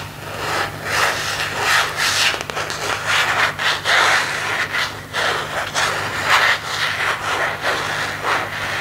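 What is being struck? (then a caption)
Empty plastic phone case. Fingertips rub and scratch the back and edges of an empty plastic phone case with a marble and leaf print, held in both hands. Repeated bright, scratchy rubbing strokes swell and fade, strongest around 2 kHz, over a faint steady low hum.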